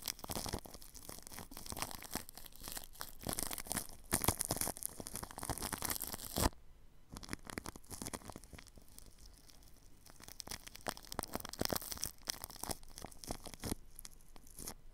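A paintbrush brushes across plastic cling film wrapped over a ball microphone's grille, producing dense, close crinkling and scratchy rustling with bright hiss and low thumps. The strokes ease off briefly to a quieter patch near the middle, then resume with the same crackling texture.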